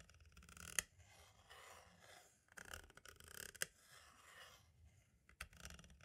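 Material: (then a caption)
Plastic. A green-and-black striped tool scratches and traces along the label on the right side of a hollow plastic compact audio cassette shell. Soft, bright scraping rises and fades in uneven strokes, broken by a few sharp, dry clicks with almost no ring.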